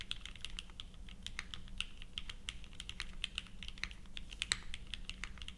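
Steady two-handed fingertip typing on a purple 60% mechanical keyboard, a plateless Leviatán r0 with GatX r1, fitted with ABS plastic keycaps and resting on a felt mat. Quick, dry clacks with a bright, high click and almost no ring fall in a fast, even stream, over a low steady background hum.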